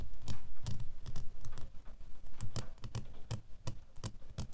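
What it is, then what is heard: Metal door key. A small, solid brass or nickel flat metal door key is held between the fingers and tapped and scratched on its bow and blade with short fingernails. The result is an irregular series of short, dry clicks and taps with a low thump beneath them and faint scratching in between.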